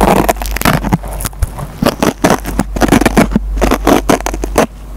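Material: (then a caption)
Nylon fibre. A dry foam sponge with a green nylon scouring pad is scratched by a metal pencil tip that pulls fibers out of the pad. Close, crackling scrapes and short tearing rasps come in quick bursts over a low steady hum.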